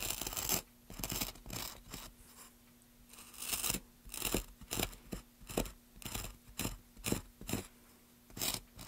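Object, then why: Basswood block under a chisel. A small chisel makes quick scraping and cutting strokes at one end of a solid, pale basswood block held down by a gloved hand. Short, dry, bright scraping bursts come in an irregular series, separated by near-silent gaps. A faint steady low hum runs underneath.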